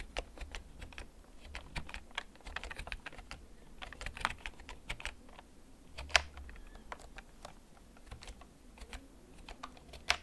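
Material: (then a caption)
Plastic. Fingertips type slowly on a black plastic backlit mechanical gaming keyboard that is held and tilted. Sharp, bright clacks land at an irregular, unhurried pace, each dying away almost at once, with a few louder strikes standing out over a faint low rumble.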